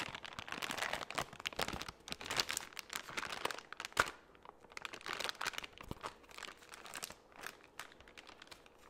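A soft, flexible plastic baby-wipes pouch, partly full, is held near the microphone and crinkled and rubbed with the fingertips. Continuous bright, crackly crinkling rises and falls in quick bursts, with almost no low end and a sharper snap near the middle. The crinkles are dry and brief, with no lingering ring.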